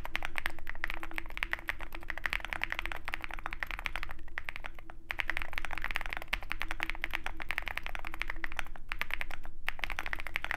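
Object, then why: Mechanical keyboard with aluminum case and plastic keycaps. Both hands type continuously with their fingertips on a compact 65% Zoom65 mechanical keyboard with a dark aluminum case, white and pink MT3 plastic keycaps, lubed tactile switches and foam filling, resting on a desk mat beside a wooden wrist rest. The result is a fast, uneven stream of short, dry, muted clacks centered in the mid range around 2 kHz, over a steady low background rumble and a faint constant hum.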